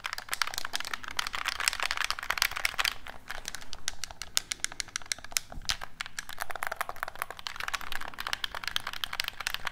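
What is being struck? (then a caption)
Plastic game controller. A black hollow plastic gamepad is tapped with fingertips and its buttons clicked close up, giving a steady run of dense, short, dry clicks and taps with bright, crisp tops and no ringing. Beneath the clicking sits a faint low hum.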